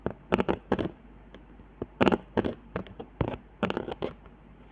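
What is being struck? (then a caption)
Cardboard board with hot glue lines. Long fingernails scratch across the hot-glue lines and dots on a flat, handmade cardboard trigger board, ending near a spiral of glue. Short bursts of dry, ridged scratching and crackling come in an uneven rhythm, separated by brief quiet gaps. The sound is mostly mid-range with little low or high content.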